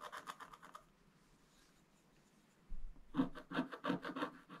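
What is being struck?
Black-coated scratch-art paper with wooden stylus.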